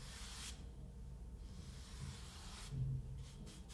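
A flat paint brush with grey bristles strokes and brushes across a solid, flat, rolled-out sheet of kinetic sand on a wooden table. Soft, airy brushing is heard, with short bright swishes at the start and again near the end over a low, steady rumble. The sound stays quiet throughout.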